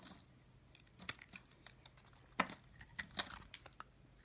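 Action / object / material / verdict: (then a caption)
scrape / bar of soap shaved with a knife blade / soap / none. A pink oval solid soap bar, held in the hand, is scraped and shaved with a utility knife blade. Nine crisp, bright scraping crunches come at an irregular pace, each short and dry. Faint crinkly shaving sounds fill the gaps between them.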